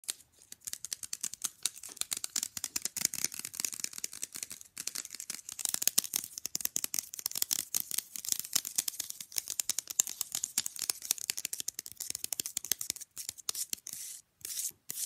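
A small, rigid, flat rectangular fridge magnet printed with an image of two figures is held in both hands and tapped and scratched fast with long glitter-polished nails. It makes a dense, continuous stream of quick, dry, bright clicks and scrapes with almost no low end and no ring. The stream pauses briefly near the end.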